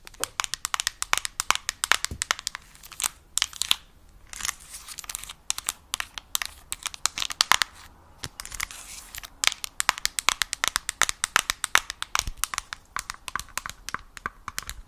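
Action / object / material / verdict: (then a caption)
tap / handheld game console with glossy plastic screen, tapped with long nails / plastic / none. Long acrylic nails tap rapidly on the glossy front screen and bezel of a yellow Nintendo Switch Lite handheld game console. The clip is a dense stream of sharp, dry, bright clicks with almost no ring or low end, broken by brief pauses around 4 and 8 seconds.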